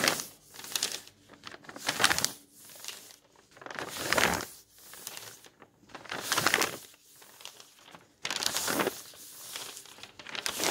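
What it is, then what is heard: Old paper magazine pages being turned and folded. Fingertips lift and fold the thin old paper pages of a thick bound volume of magazines, and a palm rubs each page flat. Bursts of dry rustling and crinkling swell and fade, bright and papery with almost no low end, between quieter gaps.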